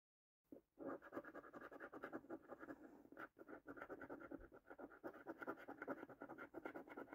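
A coin scrapes the latex coating off a thin cardboard paper scratch card held in the hand. Rapid, dry, raspy scratching strokes come in quick bursts with a brief pause partway through, concentrated in the low-mid to mid range with little deep bass.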